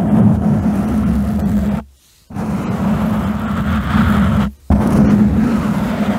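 Fingertips and nails of both hands rub and scratch directly on a soft, porous black foam windscreen over a condenser microphone. The result is a dense, close, rumbling scratch with a steady low hum near 220 Hz. It stops twice into brief silence before resuming.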